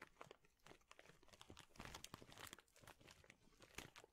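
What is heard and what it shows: A large clear plastic bag full of thin, flat wooden chips is squeezed and crinkled with both hands. Dense, bright crinkling and dry crunching crackles continuously, with rapid overlapping snaps that swell and fade. The sound is quiet overall, and each crackle dies away almost instantly.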